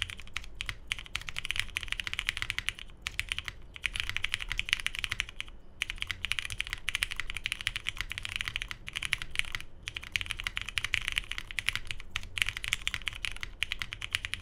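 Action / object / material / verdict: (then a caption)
tap / mechanical keyboard with plastic keycaps / plastic / none. A 75% Tomo mechanical keyboard with lubed Cherry MX Hyperglide Brown switches, a hollow navy case, a polycarbonate plate and cream and grey plastic keycaps sits on a desk mat and is typed on continuously with the fingertips of both hands. The keystrokes make dense, bright, dry clacks over a soft low thump. The typing pauses briefly a few times before continuing.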